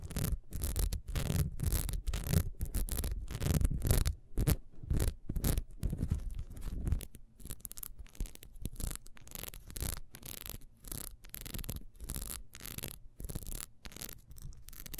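Long nails scratch quickly across the ridged top and sides of a small, solid, ribbed wax beehive candle. The result is a dense run of rapid, uneven scratching strokes with a heavy low rumble, loudest in the first few seconds before settling into quieter, lighter scraping.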